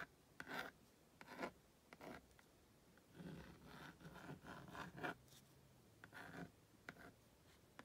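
A purple plastic magnetic stylus, held in the hand, is drawn across the honeycomb-textured screen of a plastic magnetic drawing board (a Magna Doodle) to sketch a cartoon figure. The result is a series of short, dry scratching strokes, some quick and separate and some in longer rubbing runs, with a gritty midrange rasp and brief bright edges. The strokes are quiet and stop abruptly with almost no ring.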